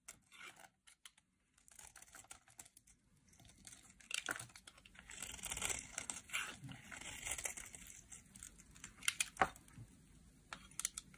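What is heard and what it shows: A solid rectangular green dry soap bar, held in the hand, is carved with a metal utility knife blade into shavings until only a thin strip remains. Quiet, irregular scraping and crisp tearing strokes come in quick bursts, bright and papery, with a few sharper cuts standing out near the end.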